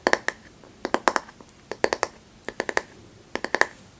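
A flat, light bamboo paddle hairbrush, held upright by its handle, has its solid back face tapped and scratched with long manicured nails. Quick, crisp, bright clicking taps come in small clusters, each dying away almost instantly, with faint scratchy sounds between them.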